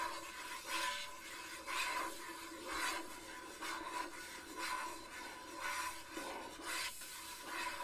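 A fingernail scratches and rubs the printed surface of a small hollow cube gift box, red with a colorful patterned lid, that looks like cardboard and is held up close. Bright, rasping strokes swell and fade about once a second, over a faint steady tone near 1 kHz.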